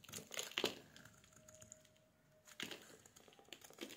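A solid oval bar of dry pink soap is held in the hands and scraped and shaved with a metal utility blade, and curls and flakes fall onto a wooden surface. Bright, dry crinkly scraping comes in bursts at the start and again near the end, with a quieter stretch in between where a faint steady tone lingers.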